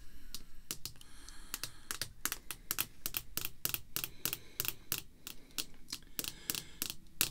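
Red artificial nail tips tap rapidly on a small, solid, clear rigid acrylic card holder containing a vintage baseball card, resting on black cloth. The result is a quick, irregular series of about 28 sharp, bright, clicky taps with almost no ring, similar to keyboard typing.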